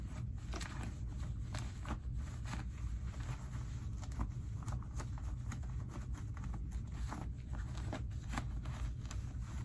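Fingers pull the pocket linings of light-wash cotton denim skinny jeans out and back in, rubbing the fabric. Soft, dry rustles and quick bright scratchy swishes repeat over a steady low rumble, making a continuous, quiet fabric texture.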